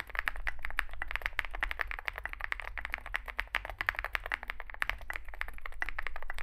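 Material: Aluminium, plastic.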